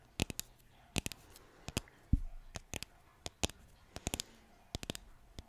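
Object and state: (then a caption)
Painted wooden sign tapped with nails. Long nails tap and scratch across a flat, solid green painted wooden bottle sign. Sharp, dry clicks come in quick irregular clusters, with one duller low thump partway through and a faint scratching hiss between the taps.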